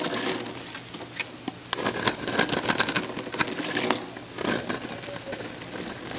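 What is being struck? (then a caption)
Bar soap. A solid, dried, hand-sized pink soap bar is held in one hand and shaved with a metal box-cutter blade. Repeated crunchy cuts give a dense run of bright, crackling scrapes, busiest in the middle of the clip, with short gaps between strokes.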